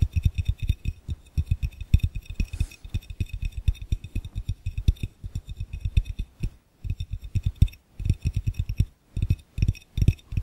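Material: Glass.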